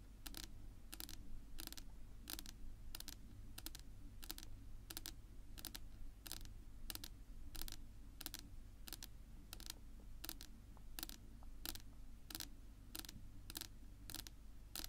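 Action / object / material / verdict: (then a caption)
tap / wooden tabletop / wood / none. Long natural nail tips rapidly tap a flat, solid dark wood-grain tabletop, making a steady run of crisp, bright clicks that die away almost at once. A low, constant hum sits underneath the tapping throughout.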